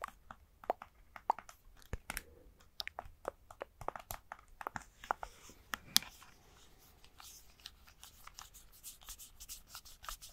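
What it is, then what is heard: Plastic game controller grip. A hand-sized, hollow red plastic Nintendo Switch Joy-Con controller grip, with red and blue Joy-Cons attached, is held in both hands and tapped and scratched with fingertips. Quiet, sharp plastic clicks and taps come in quick, irregular bursts. Soft, bright scratching fills the gaps, and each tap dies away almost instantly.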